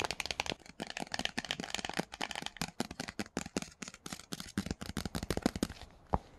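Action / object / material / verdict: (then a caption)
tap / laminated cardboard book cover / laminated cardboard / none. A hardcover copy of The Silver Slippers, a children's book with a laminated cardboard cover, lies on a blanket while fingertips with paperclips on the nails tap rapidly across its cover. The taps are short, dry clicks with a bright, rattly edge over a soft low thud, coming in quick irregular bursts. The final tap near the end is the loudest.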